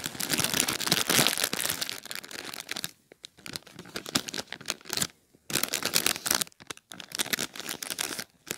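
A single clear plastic bag full of popcorn lies on a blanket and is pressed and scrunched with fingertips and short nails. It makes dense, bright crinkling in irregular bursts, with quieter, sparser crackles in the middle of the clip before the full crinkling resumes.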